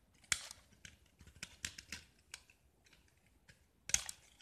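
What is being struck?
Painted gypsum brick.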